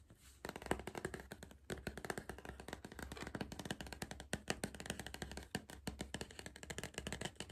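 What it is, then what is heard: Cardboard crisp tube. Fingers tap rapidly on the side of a hollow Pringles cardboard crisp tube with a plastic lid while the tube is repositioned. The result is a dense stream of short, dry, hollow taps that stop almost at once, over a steady low hum.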